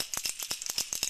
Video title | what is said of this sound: Southshore Anglers - 201502 Eric Bachnik from Mirrolure | a high pitch frequency sounds like a tin can this has two rattles inside the bait you hear that really loud